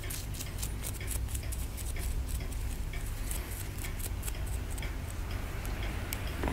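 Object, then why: Plaster block picked with a wooden stick. A wooden stick picks and scrapes at a hand-held solid plaster block near the exposed bone. Quick, light, bright clicks tick irregularly over a steady low hum that dominates the sound.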